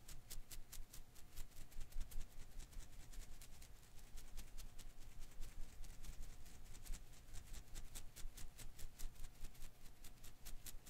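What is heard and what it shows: A single blue and green Koosh ball made of thin rubber filaments is held in one hand while the fingers flick and strum its strands. The result is a quick, uneven stream of short, dry ticks with bright edges, set over a constant low rumble and a faint steady hum.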